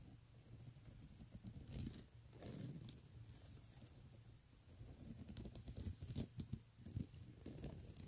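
Fingernails scratch and tap across the beaded front of a pink plastic beaded handbag, then the hand comes to rest on the bag. The result is a quiet, low-weighted patter of dry clicks and scraping rustles, with brief bright ticks that die away instantly.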